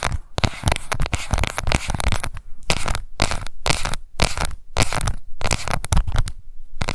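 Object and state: Plastic cushion compact.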